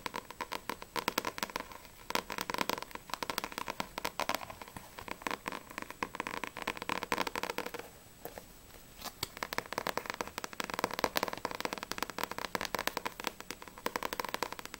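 Long nails tap rapidly on the back cover of a paperback Blue Exorcist volume 2 manga book, then on the front cover, producing dense, dry clicking with a bright papery edge. A short lull near the middle separates two bursts of fast tapping, and each tap dies away almost instantly.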